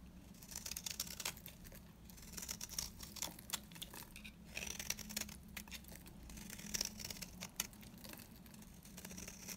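A utility knife blade scrapes and shaves a dry, beige, oval bar of retro solid soap. Dense, bright crackling and crinkly scraping comes in uneven bursts over a steady low hum, as thin shavings peel off the bar.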